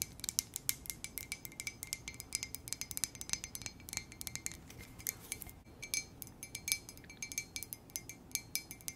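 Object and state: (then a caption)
Ceramic coffee mug tapped with nails. Long nails tap and scratch a hollow white ceramic coffee mug held in both hands. The result is a rapid run of light, bright clicks with short high ringing tones and faint scratching in between.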